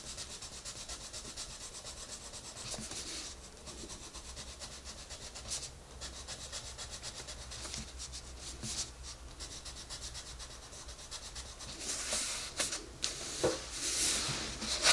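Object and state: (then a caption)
Colored pencil shading on a paper coloring page. A colored pencil, held in a hand with red nails, scratches and rubs in quick shading strokes across the page of an open paper coloring book on a table. The steady, bright, papery scratching grows louder and harsher over the last few seconds.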